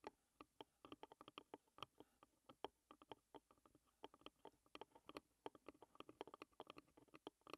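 Curled fingers with long red nails tap and scratch quickly on the white painted lid of a closed, hollow, rectangular wooden tea box. Around forty short, dry, hollow clicks come in a fast, uneven patter, each with a mid-range knock near 420 Hz, a brighter nail tick, and almost no ring or low end.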